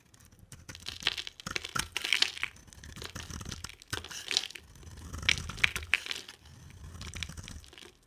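A box cutter blade carves into a solid, dry, palm-sized white oval bar of soap. It makes a series of crisp, bright scraping and crunching bursts with crackly flakes and no ring after each stroke.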